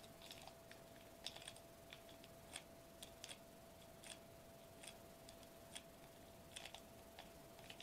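Fingertips with short nails tap rapidly on a foil-laminated plastic bubble wrap sheet lying flat on a table. The taps are quiet, sharp, bright clicks scattered irregularly over a steady low hiss and a faint constant mid-pitched tone, each dying away almost instantly.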